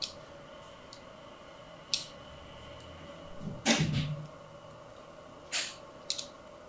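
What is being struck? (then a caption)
Solid soap bar. A thin needle tool scratches diagonal lines across the face of a hand-held, blue and white striped solid soap bar. Several short, bright, dry scratching strokes are heard over a quiet background, with a louder stroke near the middle that carries a soft low thump.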